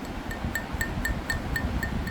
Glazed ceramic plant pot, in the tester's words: 요런 아이들은 대체적으로 저온에서 굽었다고 생각하시면 돼요